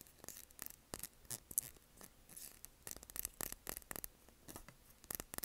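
Long nails tap the sides and then the bottom of a small wax-filled glass candle jar, making a quick, uneven run of sharp, bright clicks. Each tap is dry and dies away almost instantly, with quiet rubbing between the taps.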